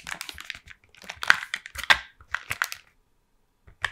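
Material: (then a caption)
Cardboard. Long painted nails tap and trace across the printed front of a flat, hollow Toffifee cardboard candy box held in both hands. Quick, irregular dry clicks and scratchy, crinkly brushes pass through the first three seconds, then pause in silence before a final short burst of taps.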